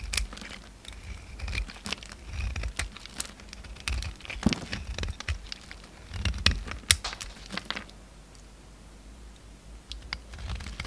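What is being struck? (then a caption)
Bar of soap shaved with a knife blade. A solid oval bar of soap with a red marbled coating and pale orange inside is held in the palm while a steel utility knife blade shaves the coating off into curled shavings. Many quick, bright scraping and crackling cuts come in bursts over a low, steady rumble, then fade to quieter strokes near the end.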